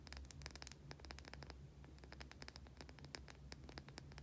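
Long painted nails scratch and tap a white, solid oval bar of soap held in both hands. The result is a quick run of short, dry, bright clicks and scratchy ticks over a steady low hum.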